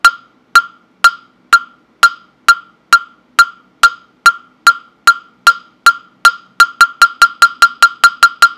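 A hollow, round wooden mokugyo fish block with a slot opening is held in hand and knocked with a round-headed wooden mallet. It gives 26 sharp, dry, hollow knocks with a clear pitched tone near 1.4 kHz, each dying away almost at once. The knocks are steady at first, then speed up into a quicker run over the last two seconds.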